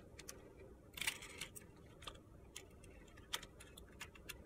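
A metal box-cutter blade scrapes the coating off a palm-sized, solid bar of purple glitter-coated soap, revealing white soap underneath. Short, bright, crunchy scratches and ticks sound over a faint low hiss, with a denser gritty burst near the one-second mark and another sharp scrape a little past three seconds.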